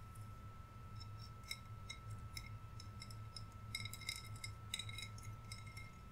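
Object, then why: Decorated glass bottle. Fingernails tap and scratch the surface of a hollow green glass bottle with lights inside and gem decorations. Quiet, bright, short clicks and ticks come in irregular bursts, bunching more densely in the second half, over a steady low hum and a faint constant tone.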